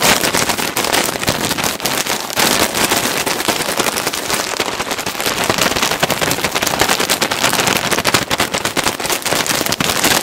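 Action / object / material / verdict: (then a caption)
scrape / plastic bag filled with cotton balls / plastic / none. A clear plastic bag filled with white cotton balls is held in both hands close to the microphone and squeezed and crinkled with the fingertips. The result is a dense, continuous crackling crinkle, bright and hissy with almost no low end, staying steadily loud for the whole clip.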